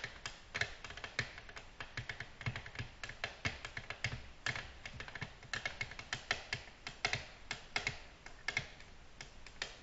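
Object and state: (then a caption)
Glass tabletop tapped with fingernails. Long natural nails gently tap a flat, solid, glossy black glass tabletop. The result is a steady, uneven stream of quick, light, bright clicks, each dying away almost at once, with a sharp mid-range tone and little low end.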